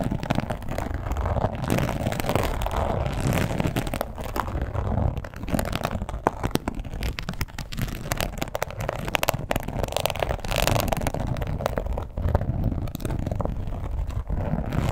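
A red croc-embossed leather wallet lying flat is scratched with long pointed acrylic nails. The result is a dense, continuous rasping and crackling texture, heavy in the low end with a muffled midrange, with short sharp clicks scattered throughout.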